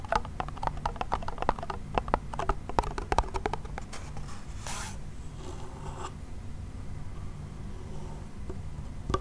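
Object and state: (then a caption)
Wooden toy pellet drum. A small wooden toy pellet drum, a hollow hand drum, has its membrane and rim scratched with fingernails. Quick, dry ticking scratches come first, then a brief brighter rasp and a softer rustling scrape. Everything sits over a steady low hum and fades to a few faint scratches.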